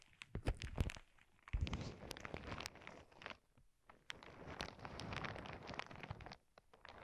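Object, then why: Plastic zip bag filled with small crystal beads. Both hands with long painted nails press, squeeze and scratch a clear plastic zip bag full of small clear crystal beads, lying on a cork board over earbud mics. Dense crinkling and gritty crunching of the shifting beads mix with sharp clicks and deep muffled thumps, swelling and fading in uneven bursts.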